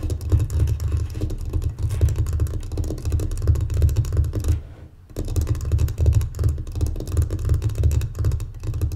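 Long painted fingernails and fingertips tap and scratch across the top of a closed, folded light-wood mancala board, about 30 cm, lying flat on a table like a solid block, with loose glass gems beside it left untouched. The result is a dense, irregular run of soft, low, dull thuds and scrapes with almost no brightness, broken by a brief quiet pause midway before the tapping resumes.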